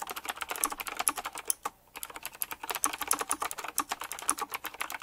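Fast typing on a full-size typewriter-style mechanical keyboard with round black plastic keycaps, chrome-look rims and a metallic frame. A rapid stream of crisp, bright clicks and clacks is heard, with a brief pause near the middle before the typing resumes.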